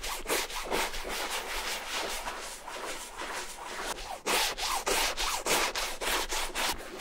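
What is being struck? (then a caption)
Canvas tote bag scrubbed with a bristle brush. A wooden-handled bristle brush scrubs foamy shampoo back and forth across a large beige vintage Burberry canvas shopper bag lying flat. The rhythmic, bright, rasping strokes sound hollow on the soft fabric body, growing louder and more distinct in the second half.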